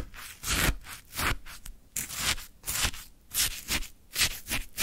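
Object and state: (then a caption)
Shaved ice scraped with a wooden stick. A wooden stick digs and scrapes into a full plastic cup of orange frozen shaved ice, producing about nine bright, crunchy scraping bursts. Each scrape is grainy and hissing with some low thud, separated by brief quieter gaps.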